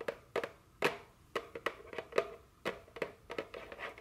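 A small printed cardboard chocolate candy box, likely full, is held in hand and tapped with very long fingernails. About sixteen quick, dry, hollow taps come in an irregular rhythm, each with a sharp clicky attack and a short papery thud around 400 Hz. Each tap dies away almost at once.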